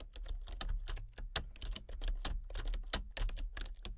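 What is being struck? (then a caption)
Plastic computer keyboard. Fingertips type rapidly on a full-size plastic computer keyboard with a colour-changing backlight. The result is a steady stream of quick, short keystroke clicks with bright tops over a low, dull thud.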